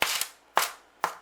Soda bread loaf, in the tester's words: you can hear the hollow it's not as Hollow as damper